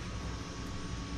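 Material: Nothing is struck.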